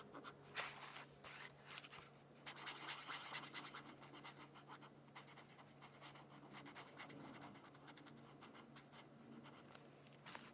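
A brush-tip pen scratches and rubs across a thin paper coloring sheet resting on a hardcover book. Quiet, bright, dry scratching strokes repeat irregularly throughout, with short sharp bursts near the start and end over a faint steady low hum.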